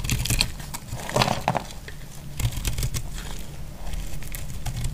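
A utility knife blade scrapes and cuts into the surface of a solid cream dry laundry soap bar held in hand. The result is a steady, dry, crackly scraping with bright crinkling bursts over a low background rumble.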